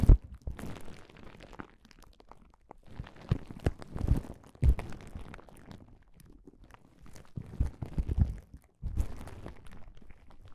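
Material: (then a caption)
Plastic. Both hands press and rub a flat plastic bubble wrap pouch on a table with their fingertips. Soft, dense crinkling comes in bursts of many small sharp clicks and crackles, with a low, muffled body and brief pauses between bursts.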